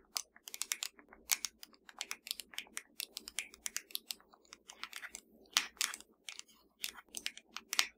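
A slim, hollow black plastic Fire TV remote lying flat is tapped rapidly with the long dark nails of both hands. The taps are quick, dry and bright clicks centered around 2.2 kHz, with almost no ring. They form an irregular, typing-like patter at soft-to-moderate levels.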